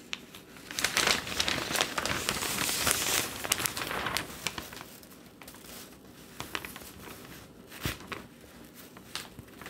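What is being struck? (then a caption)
Thin newsprint newspaper. A large, thin newsprint Globe and Mail newspaper is held up in both hands while the fingertips flip and crinkle the pages, shaking the sheets. The result is bright, dense crinkling and rustling that swells loudest over the first few seconds. It then settles into softer crackles punctuated by sharp paper snaps.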